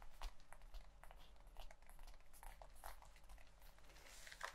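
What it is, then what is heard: Leather jacket. Long white-painted nails and fingertips scratch and rub the chest of a worn black leather biker jacket with metal snaps and a zipper. A quiet, steady run of dry crinkling and scraping comes through, with bright rustling bursts over a faint low rumble.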